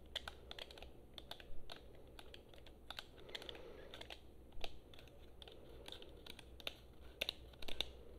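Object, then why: Plastic game controller. A hand-sized, hollow blue plastic PlayStation-style gamepad, held in both hands, is tapped rapidly with long painted nails on its shell and buttons. The result is quick, irregular, bright clicky taps with very short ring, a few landing louder than the rest, over a steady low hum.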